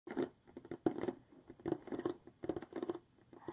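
Long manicured nails and fingertips of both hands tap and scratch the front of a large, flat, printed cardboard Sticky Mosaics craft-kit box lying on a table. The hollow box gives a quick, irregular patter of soft, dull taps, each with a low-mid hollow knock, mixed with faint dry scratches. Every tap stops almost at once with no ringing.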